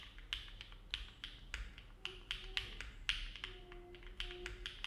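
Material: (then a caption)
Aluminum, plastic. A compact silver-cased mechanical keyboard with an aluminum plate and dark plastic keycaps, resting on a desk mat, is typed on steadily with the fingertips of both hands. The key presses land as bright, short taps with a ringing edge around 2.8 kHz over a faint low rumble, spaced irregularly at a slow pace.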